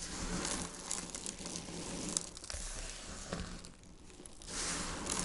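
Dried white soap flakes, shaved with a peeler, are squeezed in the palms and sprinkled from the fingers onto a pile on a wooden board. The result is a dense, bright crinkling and crackling crumble with a low rustle underneath, easing briefly before swelling again near the end.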